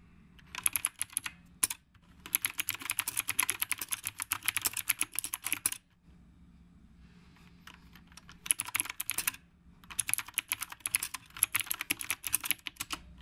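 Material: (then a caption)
Plastic. A dark retro typewriter-style mechanical keyboard with round brown plastic keycaps, a hollow case and a phone resting on its stand is typed on steadily with the fingertips of both hands. Rapid bursts of bright, sharp clicks come in several runs separated by short pauses, each click dying almost instantly with little low end.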